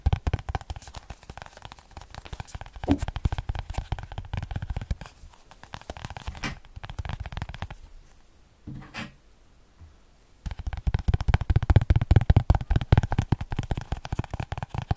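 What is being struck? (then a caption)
Small paper spiral notebook. Fingernails scratch and rub the page edges of a small paper spiral notebook, producing a dense, rapid crackling scratch with a heavy low, papery rumble. The scratching quiets into near silence for a couple of seconds with a brief rustle before resuming at full intensity to the end.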